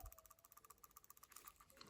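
A PCV valve from a 2011-2024 Infiniti QX56/QX80 or 2017-2024 Nissan Armada, cleaned with solvent, is shaken so its check ball rattles inside in a quick run of light, clicky ticks. About a dozen short, dry hits sound with almost no ring. The check ball now moves freely and springs back into position, as it should.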